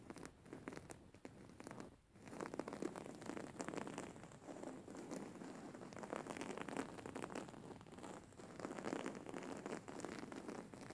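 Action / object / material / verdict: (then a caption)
scrape / embroidered cotton cushion / cotton / none. Painted fingernails on both hands scratch a soft, filled white cotton cushion with grey flower embroidery, held upright. The result is a dense, steady stream of quick, dry, crinkly scratches centred in the mids, with a brief lull near the two-second mark before the scratching resumes at an even level.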